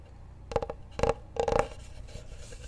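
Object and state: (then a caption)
Wooden cutting board. Fingertips tap and drum on the face of a large, flat, solid wooden cutting board held behind the microphone. Three quick bursts of hollow, woody knocks centered in the midrange stand out, each dying away almost at once over a quiet, faintly hissy background.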